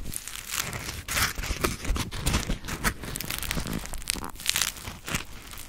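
A dry, round grey polymer foam smiley sponge (Scrub Daddy) is squeezed and scratched with long acrylic nails. The result is a steady run of crisp, crackling crunches and bright scratchy rustles, with soft low thumps beneath them.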